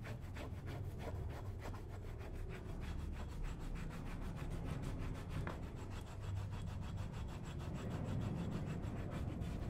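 A hand tool scrapes along the shaft of a brown leather cowboy boot covered with white cream. Quick, steady, rhythmic scraping strokes blend into a continuous low, rough rasp with little brightness, holding an even level throughout.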